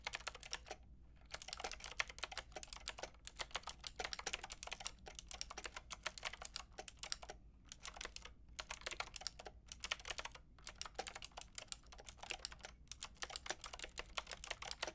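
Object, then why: Plastic mechanical keyboard with round keycaps. Fingertips with long painted nails type on a pink and white Lofree mechanical keyboard with round plastic typewriter-style keycaps and a hollow body, lit from below. The result is a steady stream of quick, bright, clicky plastic taps with almost no ring, broken by a few brief pauses.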